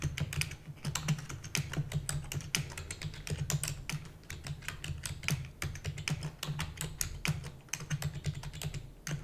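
Rapid typing with fingertips and long natural nails on a full-size black plastic computer keyboard with plastic keys and a hollow housing. Quick, bright clicky keystrokes sit over a steady low, hollow thump, with very short decay on each press.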